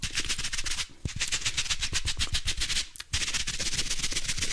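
A palm-sized, soft, compressible blue foam kitchen sponge with a textured scrub side is held in both hands in front of a microphone and squeezed, twisted and rubbed with the fingertips and palms. This produces fast, irregular bursts of crackly, bright scratching with soft low thumps underneath. There are two brief quieter gaps, near 1 second and 3 seconds.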